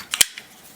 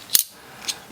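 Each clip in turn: First: hollow-sounding titanium knife handle. Second: solid titanium knife handle.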